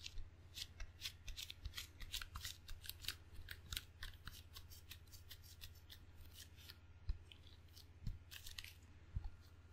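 Fingertips pat and peel on the black rubber face of a wooden-bladed table tennis paddle, making a rapid run of short, sticky taps and bright crackling snaps. A steady low hum sits underneath, and a few louder pats stand out near the end.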